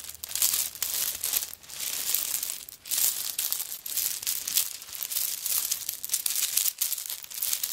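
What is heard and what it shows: Long nails scratch across the shell chips covering a handbag held in the hand. The result is a dense, bright, crackly scraping that rises and falls in short bursts with almost no low end.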